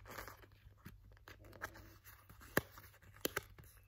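A small, thin, solid purple glitter foam star ornament is scratched and rubbed with nails and fingertips. Quiet, dry, crackly scratching and rustling is broken by a few sharp, bright clicks late in the clip. A faint low hum runs underneath throughout.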